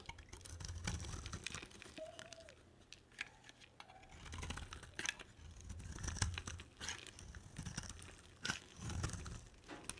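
A solid, palm-sized bar of dry white soap is held and carved with a box cutter blade. Crisp scraping, crunching and tearing sounds come as the blade shaves through the soap, with bright edges over soft low thumps from handling. The cuts come in uneven bursts with brief pauses, and there is no talking.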